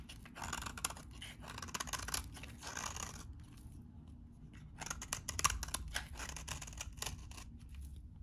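A metal utility knife blade cuts crunchy shavings from a solid, very dry, beige-tan vintage bar of soap. Bursts of crisp, bright scraping crunches come in quick strokes, with a quieter pause around the middle before the cutting picks up again.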